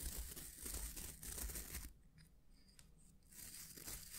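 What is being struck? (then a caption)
Wooden hair brush with natural bristles. Fingertips and nails scratch and rub the dense natural bristles of a small oval hair brush with a solid wooden back, held in the hands. A dry, crackly scratching rustle with bright hiss and a low rumble comes in uneven bursts, drops to faint scattered clicks for about a second and a half, then swells back into steady scratching.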